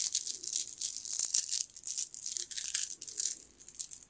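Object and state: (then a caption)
Jade bead necklace. A strand of green jade bead necklace is dangled and gathered in the fingers, the stone beads clicking and rattling against each other. The sound is a bright, high, continuous chatter of tiny, quick clicks with almost no low end.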